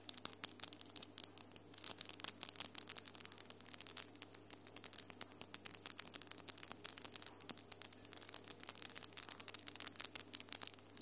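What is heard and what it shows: Long, solid acrylic nails with glitter polish click and rub against each other in a quick, continuous stream of sharp, bright taps. Each click is short with almost no ring, over a faint steady low hum.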